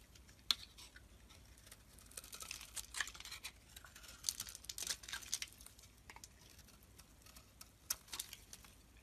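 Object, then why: Bar of soap shaved with a metal blade. A metal blade shaves thin layers off a rectangular, solid green embossed soap bar held in the hand. Quiet, crisp, bright scraping strokes and soft crackles come in bursts, centered around 3.4 kHz with almost no low end. Each stroke stops dry with no ring.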